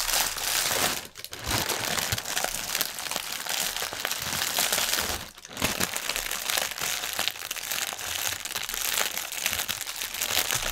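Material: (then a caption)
Plastic. Fingertips and nails press and scratch a clear, printed plastic air-cushion packaging strip resting on a white table, crinkling the film. The result is a dense, bright, continuous crackle of crisp crinkles with very little low end, broken by two brief quieter dips near 1 and 5 seconds.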